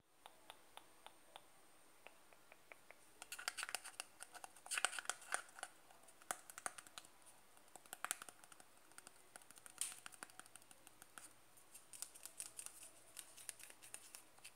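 Fingertips and nails tap the lid and sides of a closed, white-and-blue plastic Nivea face cream jar (100 g) held in the hand. Quiet, sharp, clicky taps die away instantly, with little low end and a bright edge. They start sparse and evenly spaced, then come in quicker, irregular flurries.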